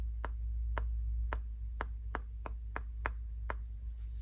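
Long nails scratch the stiff natural bristles and solid wooden body of a small wooden nail brush with a patterned back, held by the fingertips. The result is a series of short, crisp, irregularly spaced scratches over a steady low hum.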